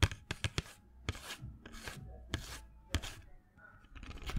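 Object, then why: Small cardboard box of colored pencils. A small printed cardboard box full of colored pencils is held in the hand and tapped and scratched with fingernails. Sharp, dry taps stand out clearly from softer, bright scratching passages between them, with the pencils rattling faintly inside.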